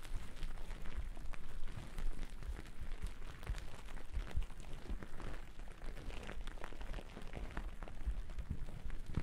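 Two wooden-backed bristle brushes brush and scratch across a thick white cotton terry cloth towel draped over the microphone. The result is a steady, muffled rustling, heavy in low rumble, with many quick scratchy strokes running through it.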